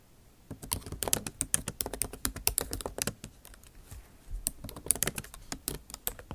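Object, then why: Plastic laptop keys. A MacBook Pro backlit keyboard, with bare plastic keys set in an aluminum body, is typed on with the tips of long acrylic nails. Quick, sharp clicking taps with a bright edge come in two bursts, separated by a brief lull.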